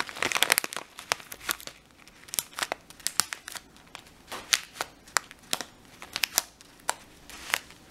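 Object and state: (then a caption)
Plastic bag of dried lentils, crinkled. Fingertips rub and scratch the printed surface of a full red and clear plastic bag of dried lentils and crinkle the bag. The result is a bright, dry crackle of many sharp clicks and rustles, with no ring and almost nothing in the low end.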